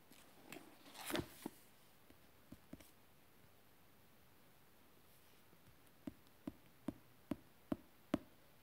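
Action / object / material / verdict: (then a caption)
tap / thick book with thin paper pages / paper / none. A fingertip scratches and taps across the printed surface of an open, thick German Bible with thin paper pages and orange sticky tabs. A brief rustling scratch gives way to a few soft, scattered taps and a quiet pause. It ends with six evenly spaced, crisp taps with short, dry decays.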